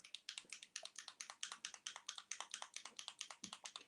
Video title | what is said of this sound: GETTING STARTED WITH RE-INKERS - LHC INTERFERENCE REINKERS | Can you hear that ball bearing in there?